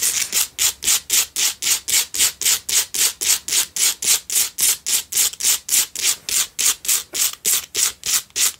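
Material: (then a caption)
Rock salt. Long nails rapidly scratch up and down the sides of a lit pink Himalayan salt single tealight candle holder. The result is a steady run of about 33 short, bright, hissing rasps at a quick, even rhythm, with almost no low end and no ring after each stroke.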